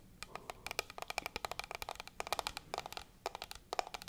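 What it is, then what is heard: Hard plastic case. A small, hand-sized hard black plastic case, likely hollow, is held in both hands beside the microphone and tapped with long acrylic nails. The result is a fast, uneven run of crisp, dry clicks with a hollow mid-pitched knock around 740 Hz and bright edges. Each click dies away almost instantly over a faint background hiss.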